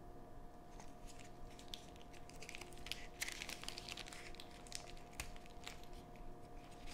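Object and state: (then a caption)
Candy bar in a crinkly plastic wrapper. A long, thin, solid Charleston Chew chocolate nougat bar in a crinkly plastic film wrapper is held, turned and squeezed by gloved fingertips, while a second unopened bar lies still on a cutting board. Soft, uneven crinkling and crackling of the film sounds close and quiet over a steady low hum, with a few sharper, brighter crackles in the middle.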